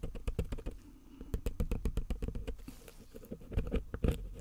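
A pointed metal pick scratches and digs into the lettering of a small, solid gold-painted plaster bar held in gloved hands, piling up white plaster dust. The sound is a rapid, uneven run of short, dry scratching ticks and scrapes that rise and fall in bursts, with a dull, low-heavy body and little ring.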